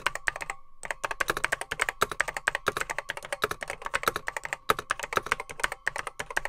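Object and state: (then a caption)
Plastic vintage computer keyboard. Fingertips type on a beige plastic Apple M0110B keyboard with grey plastic keycaps, its hollow case holding mechanical switches. Rapid, sharp, bright key clacks with a hollow plastic tone follow one another in a steady stream, pausing briefly near the start. Each strike dies away almost instantly.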